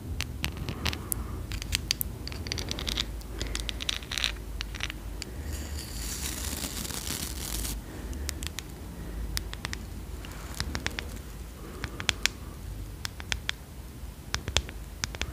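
Long acrylic nails scratch the dark boar bristles of a small, solid handheld brush with a light wooden back, and tap its wooden edge. Many sharp, bright clicks and dry scratching sounds repeat over a steady low rumble. A denser, brighter stretch of scratching comes about midway through.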